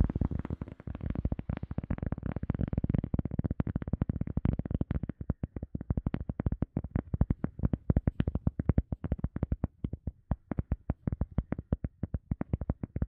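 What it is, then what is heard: EVA foam sponge tapped. An EVA foam sponge is tapped rapidly for ASMR, with no talking. The taps are short, dull and low thuds with almost no ring, coming in a dense, blurred flurry at first and then settling into a steadier run of separate, crisper taps.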